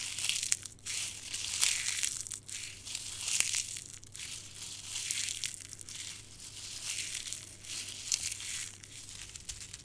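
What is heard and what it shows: Dried dark red rose petals are squeezed in a closed fist and crumbled between thumb and fingers. Brittle, dry crackling and crunching comes in irregular bursts, bright and high with almost no low end.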